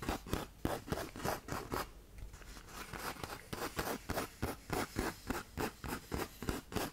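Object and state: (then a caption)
Sandpaper sheet scratched with nails. Long nails scratch rapidly over the gritty face of a tan 120-grit sandpaper sheet held curled like a tube, making about nineteen quick, dry rasping strokes. The strokes come in an uneven rhythm, with a softer, quieter scraping stretch near the two-second mark before the bursts pick back up.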